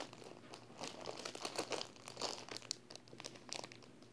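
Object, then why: Paper wall calendar sealed in thin plastic film. A large flat paper wall calendar sealed in thin clear plastic film is held in one hand while fingertips and long painted nails press and rub the film. The result is a steady run of soft, bright crinkling with many quick, crisp crackles and no low rumble.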